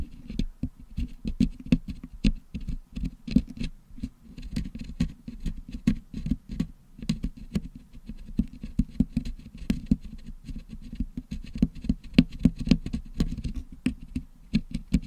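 A wooden toothpick scratches rapidly along the side of a Blue Yeti microphone's hollow metal mesh dome, which is packed with blue and yellow putty, to pick the putty out. The result is a dense, uneven patter of short, dry scrapes and taps with a muffled low body and faint bright crackle on the sharper strokes.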